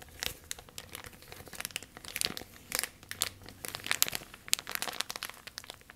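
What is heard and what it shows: A thin, clear, empty plastic bag is crinkled and scrunched by both hands with long nails. It makes a dense run of sharp, bright crackles and crinkles with almost no low end, each burst dying away almost instantly.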